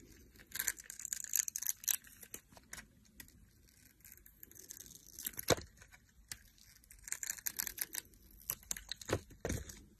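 A solid orange Imperial Leather bar of soap, held in a hand with long nails, has its edges shaved into curls with a utility knife blade. Soft, bright, crinkly scraping strokes come in irregular bursts, with a few sharper clicks as the blade bites and the curls peel away.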